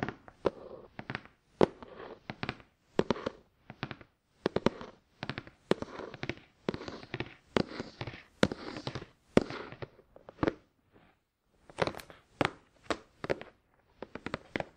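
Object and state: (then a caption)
Cardboard box tapped. Fingers tap the sides of a hollow, glossy black printed cardboard product box resting on a towel, then the fingertips of both hands tap its top. The result is a long run of short, dry, papery knocks in quick clusters with brief pauses between them, each one dying away almost instantly.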